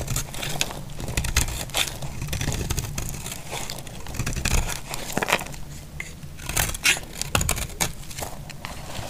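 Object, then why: Bar of soap scraped with a knife blade. A solid, dry white bar of soap is held in the hand and scraped and sliced with a utility knife blade. Dense, crackling scrapes and crumbly crunches come in quick bursts, with bright grainy edges over a low rumble. Brief sharper snaps cut through as the blade bites into the bar.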